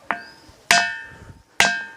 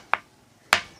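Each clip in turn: First: Three sharp strikes on a boulder ring out with clear metallic tones, like a bell rather than rock. Second: Two short, dry knocks with no ring, the dull click of ordinary stone.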